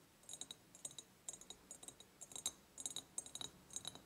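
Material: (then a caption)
Glass. An empty medium ribbed clear glass jar with a ceramic lid is tapped on its glass sides with long painted nails. The result is a quick, irregular series of light, bright clicks with tiny high glassy pings. Each tap dies away almost at once, and there is little low end.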